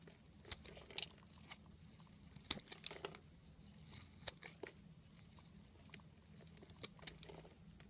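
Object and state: Bar of soap being carved.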